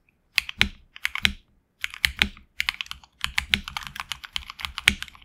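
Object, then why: Mechanical keyboard with plastic PBT keycaps. Typing with the fingertips of both hands on a HyperX Alloy Origins Core tenkeyless mechanical keyboard with HX Red switches and grey and red PBT keycaps, resting on a deskmat. Bright, crisp key clacks come in quick bursts separated by short pauses, each keystroke dying away almost instantly with a faint low thud beneath.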